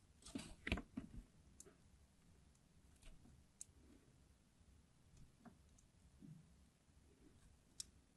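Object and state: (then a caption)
Glycerin soap bar being scored. A craft knife blade scores crosshatch lines into the surface of a solid, green, translucent, palm-sized hard glycerin soap bar held in the hand. Quiet, irregular, dry clicks and short scratchy scrapes follow, with a louder cluster near the start and then sparser, softer ticks. Each sound stops almost instantly, with no ring.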